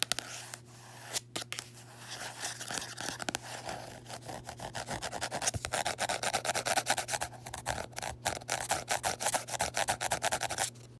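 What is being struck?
Paperback book with textured card cover.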